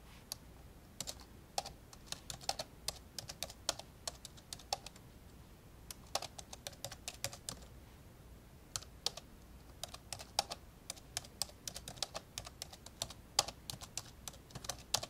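Slow key presses with the index fingertips tap on the plastic keyboard of an old, dark grey plastic laptop lying open. Dozens of short, bright, clicky taps come in an irregular rhythm, each dying away almost instantly over a faint, steady low background noise.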